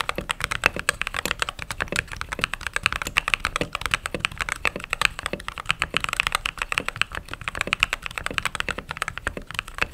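Fingertips with short pink nails type rapidly on a full-size mechanical keyboard with white plastic keycaps and an RGB backlight, set on a desk. A dense, steady stream of short, crisp clacks with a bright, mid-high tone and almost no low end, each keystroke dying away almost instantly.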